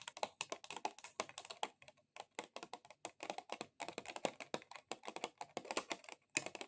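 A plastic item is tapped rapidly with long XXL acrylic nails, making fast, dry, clicky taps much like typing on a computer keyboard. The taps are bright, with almost no low end, and each dies away almost instantly. The run is broken by brief pauses near 2 s, 3.8 s and 6.3 s.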